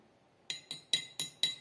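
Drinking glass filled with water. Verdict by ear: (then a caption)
Full. A glass filled with the maximum amount of water is tapped five times, giving short, bright clinks with a clear ringing pitch near 3.9 kHz. Each tap dies away quickly. Its tone is audibly different from that of the less-filled glasses.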